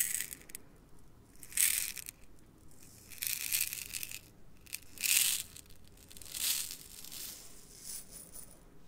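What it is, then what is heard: Glass jar of seed beads. A small clear glass jar, about half full of tiny iridescent metallic seed beads, is held tilted in one hand, shaken and moved past the microphone. The beads shift and rattle inside in soft, bright, hissing bursts that swell and fade. The sound is almost entirely high-pitched, with little low end.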